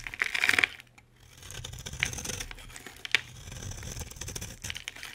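A utility knife blade scrapes a solid green rectangular bar of soap held in the hand, sending flakes falling off. A loud, bright, crisp scraping burst opens the clip, followed by quieter dry crackling scrapes with a few sharp clicks.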